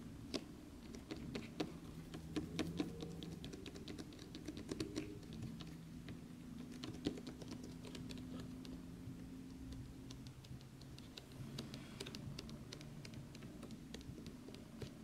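Fingertips and short nails tap rapidly and scratch along the glossy surface and edge of a large black printed cardboard game collector's box with a white side strip. The result is a quick, quiet run of dry, bright taps and scrapes over a faint, steady low hum.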